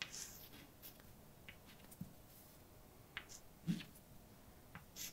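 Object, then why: Chalk on a chalkboard. A hand writes with white chalk on a large dark blackboard, making quiet, scratchy bright strokes broken by short, dry taps as dashes are marked. The taps land with a dull low thump and die away almost at once, with a faint steady hiss between them.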